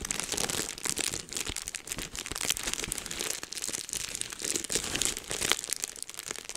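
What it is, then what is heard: Plastic bubble wrap. Clear plastic bubble wrap is held low in both hands while fingertips pinch and pop the bubbles. Dense, bright crinkling runs throughout, broken by sharp, dry pops that end instantly. Very little low end sits under the mostly high, rustling texture.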